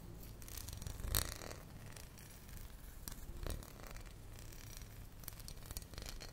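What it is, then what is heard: Glass passata bottle. Fingernails tap and scratch along a tall glass bottle full of tomato passata, held tilted, moving over both the glass and its label. It produces a steady, low, rumbly bed with bright, papery scratching on top, broken by a couple of sharper, louder taps.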